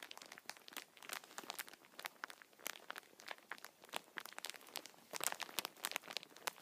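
Fingertips squeeze and rub the clear plastic wrapper of a full, hand-sized multipack of Kinder chocolate bars held up close. A quiet, steady stream of crisp, bright crinkles and crackles with sharp, quickly fading snaps and no low end. The crackling runs unevenly throughout, with denser, louder bursts toward the end.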